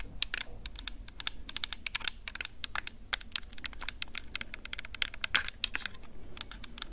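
Long acrylic nails tap and scratch rapidly over the metal mesh capsule guards of a plastic-bodied Tascam DR-05X handheld recorder held in one hand. The result is a dense stream of sharp, bright clicks and scratchy ticks close to the microphone, each dying out almost instantly over a low, steady rumble.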